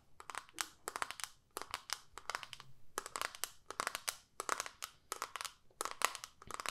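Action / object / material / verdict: tap / small plastic palette with clear lid / plastic / none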